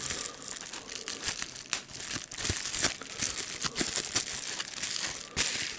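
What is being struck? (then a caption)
Plastic bubble wrap sheet. A clear plastic bubble wrap sheet, first lying flat and then bunched up in both hands, is crumpled and popped with the fingertips. Dense, bright crinkling runs throughout, broken by many short, sharp pops with almost no low end.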